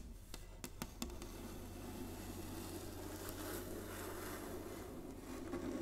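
Long nails and fingertips tap on a flat, solid inlaid wooden chessboard, making a few quick, sharp clicks in the first second. These give way to a soft, steady scratching and rubbing texture over a low hum. The sound is quiet and close, with short, dry taps that barely ring.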